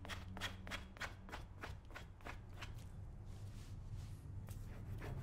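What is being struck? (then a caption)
Leather cowboy boot. A hand tool scrapes along the shaft of a brown leather cowboy boot covered with white cream. It makes a rapid series of short, bright, rasping strokes over a steady low hum, quickening at first and then thinning into softer, sparser scrapes.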